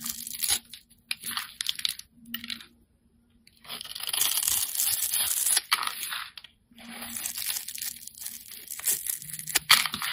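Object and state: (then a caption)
Soap bar being carved. A hand-sized, solid rectangular green bar of soap is held in one hand and scraped and carved with a metal utility-knife blade that shaves off crumbly flakes. Bright, crisp scraping and crunching strokes come in bursts separated by short silent pauses, over a faint low hum.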